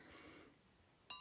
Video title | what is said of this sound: Replay Live 12/10 Collection de Noël 2025 Lilosquare | On entend que ça sonne différemment que la céramique.